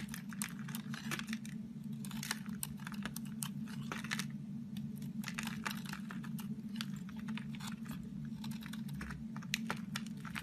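A crumbly, dry, green-coated orange soap bar is cut and scraped with a knife blade, with crumbs falling away. Rapid, crisp scraping and crackling clicks come in dense bursts over a steady low hum.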